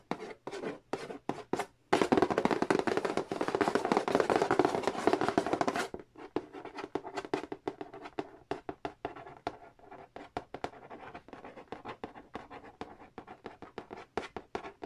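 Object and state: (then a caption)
Cardboard board game box. Fingertips and nails trace and tap on the large, hollow cardboard lid of a Monopoly board game box, with a small tool appearing briefly at the edge. Quick dry taps open the clip, then a dense stretch of continuous scratching and rubbing runs from about 2 to 6 seconds. Rapid, uneven tapping with short, dead knocks follows to the end.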